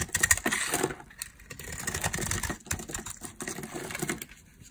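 A metal blade scrapes and carves thin, crumbly curls off a solid, palm-sized, peach-colored dry soap bar held in the hand. Rapid, dry scratching and crackling strokes come in clustered bursts, bright and gritty, with brief pauses between passes.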